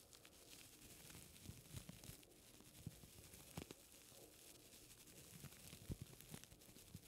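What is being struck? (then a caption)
Folded paper strip. A folded strip of white paper is held in both hands while fingertips rub and flex it close to the microphone. Quiet, steady crinkling and rustling runs throughout, broken by scattered sharper crackles and soft snaps as the paper bends.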